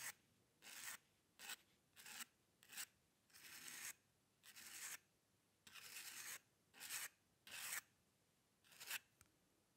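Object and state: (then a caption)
Paper sheet scratched by a metal pen nib. A dip pen's metal nib scratches strokes into the lower area of a flat white sheet of drawing paper, using the same sheet and pen throughout. A series of separate dry, bright, raspy scratches, some short and some drawn out, is heard with near-silent pauses between them.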